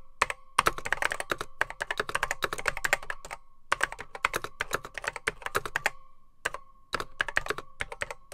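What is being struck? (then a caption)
Plastic computer keyboard with mechanical switches. Fingertips type on a beige plastic vintage Apple M0110B keyboard with grey plastic keycaps, its hollow case holding mechanical switches. Fast, sharp clacking keystrokes come in bursts with short pauses. Each press has a hollow ring near 1.1 kHz and bright, crisp highs.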